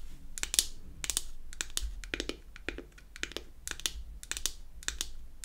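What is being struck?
Small wooden powder compact.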